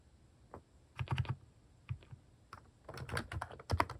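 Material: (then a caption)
Plastic. Fingertips type on a white-case mechanical keyboard fitted with pastel plastic cat-shaped keycaps. Short, crisp clacks come in irregular bursts, with a deep thock under each bright click and quiet gaps between flurries.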